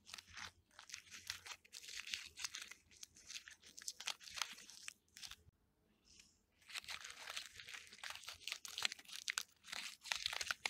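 Fingertips and fingernails scratch and pick at the loose, papery, peeling white bark on a solid living birch trunk. The result is a steady run of dry, bright crinkling and crunching with a brief pause midway before the picking resumes.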